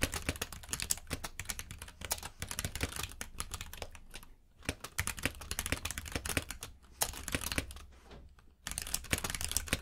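Fingertips type rapidly on a compact mechanical keyboard with plastic keycaps, producing a dense stream of sharp, bright clacks over a steady low hum. The keystrokes pause briefly around the middle and again near the end before resuming.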